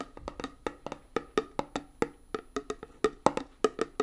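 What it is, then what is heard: Metal tin of hand putty, tapped. A closed, small round metal tin of hand putty with a "Hand Gum" printed lid is held in one hand and tapped quickly on the lid with long nails. About nineteen short, dry, hollow clicks come in an uneven, rapid rhythm, each with a mid-pitched knock near 860 Hz and almost no ring or low end.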